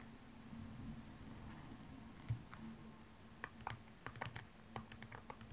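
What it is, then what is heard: Rhinestone-covered high heel shoe scratched with nails. A single blue rhinestone-covered stiletto high heel is turned from front to side while long nails scratch across its rhinestone upper. The result is a low hum under quiet rustling, then a series of short, bright ticking scratches that grow more frequent toward the end.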